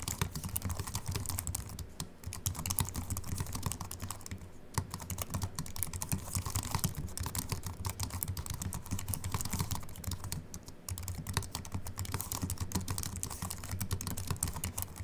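Fingertips of both hands type steadily on a compact Apple keyboard with a silver aluminium body and white plastic keys, resting on a wooden desk. Quick, dry, crisp clicks patter in a continuous stream with very short decay, broken by a few brief pauses, over a steady low hum.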